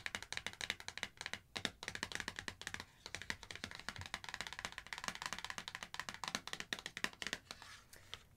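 Long acrylic nails tap rapidly on the front face of a small, thin, flexible, flat laminated foil and paper sachet holding an avocado hydrating eye mask, which is held in both hands. The taps are quick, crisp and clicky, with a bright, papery crinkle and almost no low end. Each tap dies away almost instantly.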